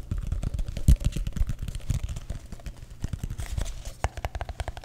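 A hollow, empty brown kraft paper cup is held in both hands and tapped and scratched quickly with fingertips and short nails on its sides and base. A rapid, uneven stream of dull, hollow thumps, mostly low and boomy, mixes with faint bright scratchy clicks. Each tap dies away almost at once.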